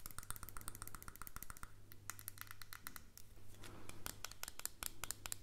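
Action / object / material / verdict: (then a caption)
tap / small plastic earbud case / plastic / none. Fingernails scratch and tap rapidly on a small hollow white plastic earbud case, producing a dense stream of sharp, bright clicks with very short decay. Softer scratching fills the gaps, and a low steady hum runs underneath.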